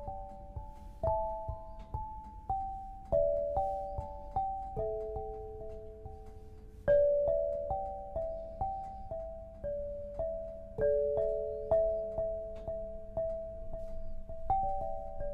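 An eight-bar lithophone of solid black granite slabs on a low frame is struck with two soft-headed mallets, red and green balls on wooden sticks, to play a slow melody. Clear, bell-like tones sit mostly between about 400 and 900 Hz, each with a soft attack and a short ring that overlaps the next note.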